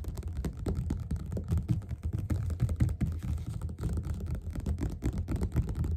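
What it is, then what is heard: Paperback book. Both hands tap fast with the fingerpads on the cover of a yellow glossy paperback copy of Othello, which lies flat, solid and closed, on a table. It makes a steady, dense patter of soft, dull thumps that are almost entirely low in pitch (around 125 Hz). Each thump dies away almost instantly.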